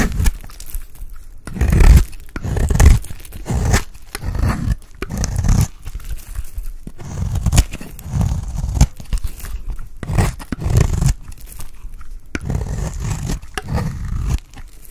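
A blade scrapes along the edge of a dry, solid cream Palmolive soap bar, shaving off fine curls. It makes a series of dry, crunchy scraping and tearing strokes with low, thudding body and faint crackle. Some strokes are louder, with short quiet gaps between them.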